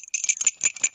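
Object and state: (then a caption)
Small keychain bell, still sounding well. A small metal bell on a souvenir keychain is shaken, giving five quick, bright jingles with a high ring that cuts off almost at once. After years stored in an old keepsake box, it still sounds clear and has not deteriorated.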